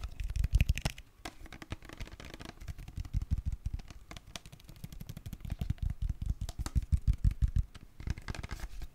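Fingernails and fingertips tap on a tall, translucent green plastic aloe vera gel bottle that is hollow and filled with gel. The result is a fast, uneven stream of dull, low, muffled taps that die away almost at once, with occasional brighter clicky bursts at the start and end.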